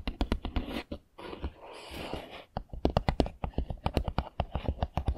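Fingernails tap and click on the roof and walls of a small, hollow, castle-style Harry Potter 3D puzzle building made of foam-backed printed pieces, lying on a table. Quick, dry clicks with a dull, low knock alternate with a softer scratching stretch in the middle. Each tap stops at once with no ring.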